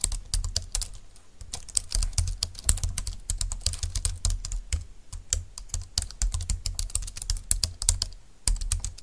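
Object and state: Plastic keyboard being typed on.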